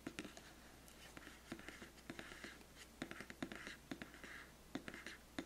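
Fingertips and painted nails scratch and tap along the surface and edges of a large, flat, black printed cardboard biscuit gift box lid, which is hollow. Quick, dry taps with a short, hollow low knock alternate with soft, hissy scratching strokes that fill the middle range. The taps die away almost instantly, leaving a quiet, close sound.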